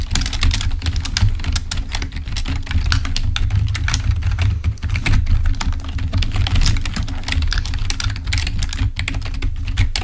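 Fingertips of both hands type rapidly on a full-size black plastic membrane keyboard, then one hand types alone. A dense stream of short, dry, bright clicks and taps runs throughout over a steady low hum.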